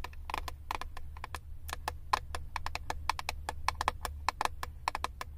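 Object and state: Plastic eyeshadow palette lid.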